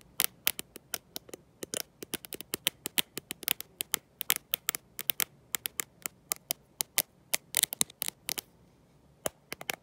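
Long nails fitted with gold metal paperclips tap and scratch the glossy glass back of a black smartphone, held in one hand with no case. A rapid, irregular stream of sharp, bright clicks and ticks sounds, each cut off almost instantly with no ring, over a quiet background.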